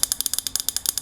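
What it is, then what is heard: Metal lava lamp base. Rapid tapping on the metal base at the very bottom of a lava lamp. Quick, bright, sharp ticks land at a steady fast pace, with almost no ring after each hit.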